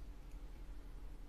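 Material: Nothing is struck.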